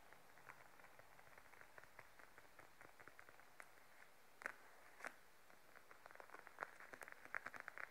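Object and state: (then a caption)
Patent faux leather wallet. Fingertips and then long nails rapidly tap a beige glossy patent faux leather wallet lying flat. The result is a steady stream of quiet, crisp, short clicks centred around 1.5 kHz, with a couple of louder taps near the middle and quicker, sharper nail taps toward the end.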